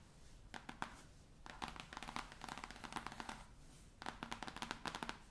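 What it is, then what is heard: Cloth-bound hardcover book tapped and scratched. Long painted nails and fingertips tap and scratch the cover of a large, solid, navy cloth- or linen-covered hardcover atlas lying flat on a table. Quick, dry taps with bright scratchy edges come in clustered bursts, each dying away almost at once over a soft rustle. A brief lull near the four-second mark is followed by another run of sharp clicks.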